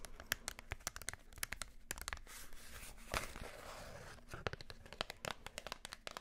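Long nails tap and scratch a small Wilkinson razor blade pack with a yellow cardboard backing and a plastic blade case. Quick, sharp, bright clicks are broken by a steady, papery scratching rasp through the middle, then the crisp tapping resumes.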